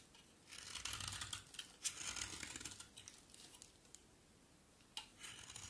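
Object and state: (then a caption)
Bar of soap being shaved. A solid, hand-sized coral-orange bar of soap is shaved with a box cutter blade, and crumbly flakes fall away. Bright, dry scraping and crackling strokes come in uneven bursts, with quieter pauses between them and a sharp scrape near the end.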